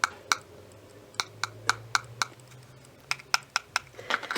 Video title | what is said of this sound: BOOTLEG MEGAHOUSE FIGURES (and how to spot them!) | when I tap on it sounds Hollow